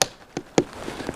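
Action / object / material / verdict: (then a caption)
tap / sap spile driven into a maple tree trunk / wood / tight. A sap spile is hammered into a drilled hole in a maple tree trunk to collect sap, with three sharp, short taps and almost no ring. The spile is now seated tight, and tapping stops there because driving it further could break it.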